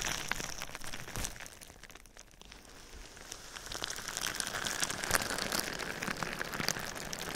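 Fingernails scratch and tap clear plastic bubble wrap that covers a binaural ear microphone. The result is a dense, bright crinkling and crackling with many sharp little ticks. It eases off to a softer rustle around the middle, then builds back up louder.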